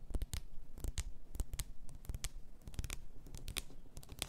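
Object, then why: Glass bottle filled with bath salt. Long fingernails tap and scratch the sides and neck of a clear glass bath salt bottle full of pink salt, topped with a gold cap. A quick run of dry, clicky taps with bright tips and soft low thumps mixes with scratchy rasping, each tap dying away almost instantly.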